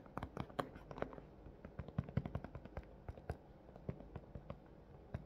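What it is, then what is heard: Thin plastic blister package, hollow. A large, hollow, thin clear plastic clamshell package holding a pink plush toy lies close by and is tapped on top with long fingernails. The result is a rapid, irregular run of short, dry clicks and taps with a low, hollow body and almost no high ring, each tap dying away almost instantly.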